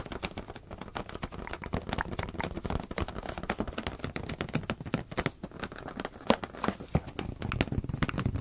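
Fingers tap rapidly on a rubber balloon in a dense, steady stream of soft, hollow thumps. Each tap is short and dry, with most of its weight in the low range and little high brightness. There is no speech.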